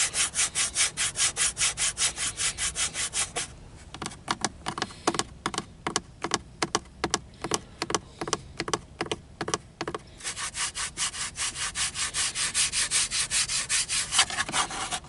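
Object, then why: Molded plastic dashboard trim. Fingertips and short nails scratch and tap the textured grey molded plastic instrument hood, the large hollow dash panel above and around the gauge cluster. Quick, even, bright scratching strokes give way midway to sparser, irregular taps and scrapes before the rapid scratching returns.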